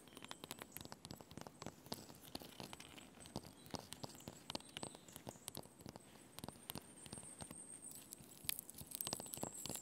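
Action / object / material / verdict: tap / birch bark on a log / birch bark / none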